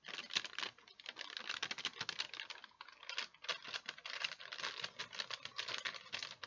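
A thin, folded sheet of wax paper is held in both hands while fingertips and nails crinkle and handle it. The result is a dense stream of quick, dry, bright crackles with almost no low end. Each crackle cuts off almost instantly.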